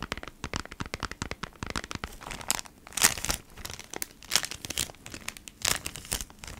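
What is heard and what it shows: Long nails scratch and squeeze a flat cardboard pack of beeswax wrap in a clear plastic sleeve, making dense, bright plastic crinkling. The rapid, irregular crackles swell into louder squeezing bursts before fading back to lighter scratching.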